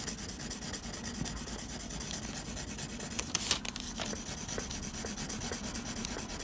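A blue mechanical pencil held in the fingers scratches dense graphite hatching across a flat sheet of textured drawing paper. The result is a steady, rapid, bright scratching and rubbing hiss, with a few louder, sharper strokes standing out midway through.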